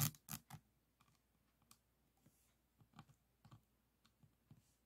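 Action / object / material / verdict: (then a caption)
tap / resin diamond painting board tapped with a plastic pen / resin / none. A pink plastic pen tip taps and clicks on individual resin beads of a diamond painting board resting on a table. Short, dry clicks with a bright tick and a soft low knock come in quick succession at first, then fall to quieter, sparser taps. Each one dies away almost immediately.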